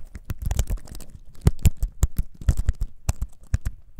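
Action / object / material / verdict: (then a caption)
tap / wooden-framed computer keyboard / wood / none. A compact, solid wooden-framed computer keyboard, held in both hands, is typed on with the fingertips in about seventeen irregular taps. Each keypress lands as a short, dry, low thud with a brief clicky top and almost no ring.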